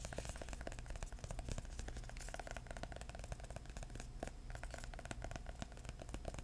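A hardcover book with a cardboard cover and cloth spine is held flat and tapped rapidly with the fingertips. The result is a dense, steady stream of short, dull, low thuds with faint brighter clicks, each tap dying away almost at once.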